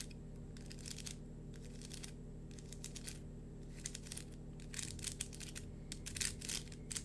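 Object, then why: Plastic lattice fidget worm toy. A hollow, hand-sized yellow-green plastic lattice fidget worm is held in both hands while fingertips and nails scratch and squeeze its ridged mesh. Soft, bright scratchy crinkling comes in quick bursts over a steady low hum, growing busier and a little louder toward the end.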